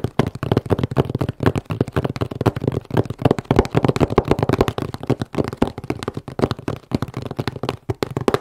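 Long manicured nails rapidly tap and scratch a medium, closed, hollow corrugated cardboard shipping box with a battery warning label, held in both hands. The taps are dense, dull and hollow, with low-heavy thumps that die away almost instantly and very little high-end brightness, mixed with soft scratching between them.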